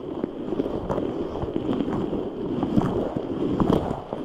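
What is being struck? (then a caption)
Rubber stress ball filled with gel beads. A large translucent rubber stress ball full of red gel beads is squeezed and rubbed with both hands. It makes a steady, dense squishing and crackling texture centered in the low mids, with scattered brief clicks and a faint bright tick here and there. The sound holds at an even level throughout without clear breaks.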